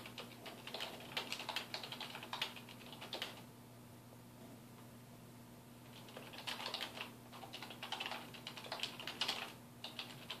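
A black plastic computer keyboard on a wooden desk is typed on with the fingertips of both hands, giving bursts of rapid, bright key taps. The typing pauses for a few seconds in the middle, then resumes, over a faint steady low hum.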